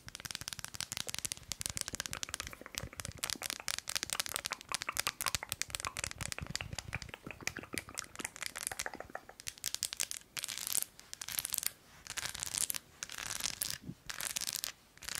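An unwrapped, solid milk chocolate bar with nuts, its textured, nut-studded back held upright, is scratched and tapped with long acrylic nails. Dense, bright crackling and crinkly scratches run throughout, broken toward the end into short bursts of sharp clicks.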